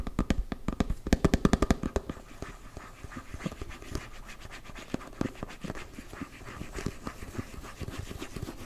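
A closed, round, hand-sized body-butter tub, likely plastic, is tapped and scratched with fingertips and nails on its side and lid. It opens with a quick run of sharp, hollow taps that have a low body. Quieter, steady scratching follows, broken by occasional taps.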